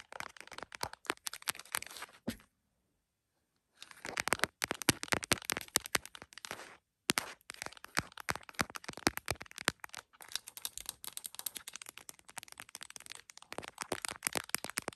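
Long nails tap rapidly on the top edge and back of a printed plastic case on an iPhone mounted on a tripod. The sound is a dense stream of sharp, bright clicks and crackles that pauses briefly near the 3-second and 7-second marks before continuing.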